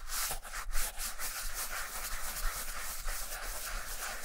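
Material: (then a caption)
Leather. A vintage Camper black leather sneaker with a rubber sole, held in one hand, is brushed along its upper with a wooden-backed dark bristle shoe brush. The result is a steady, dry, bristly rubbing hiss that is bright and airy, with a low hum of about 60 Hz underneath.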